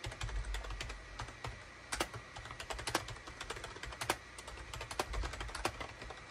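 Fingertips of both hands type rapidly on a SHIPADOO K600 full-size wired USB keyboard with a gray plastic hollow case and cream, gray and orange plastic keycaps, resting on a desk mat. Quick, short, bright plastic clacks with hollow low thuds come in an uneven stream, with a few louder keystrokes standing out over a steady low rumble.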